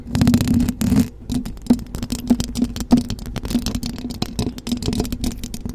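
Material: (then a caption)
Metal mesh. Long blue acrylic nails on both hands rapidly scratch the hollow metal mesh grille of a silver condenser microphone. It makes a dense, continuous stream of close-up scratching and rattling over a steady low hum, with sharper scrapes standing out now and then.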